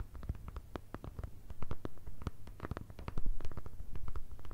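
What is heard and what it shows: A flat brown kraft paper or thin card envelope, held in both hands, is tapped and scratched with long red nails. The result is a rapid, uneven patter of short, dry, dull taps with low papery thumps and faint scratching between them, growing louder in the last second or so.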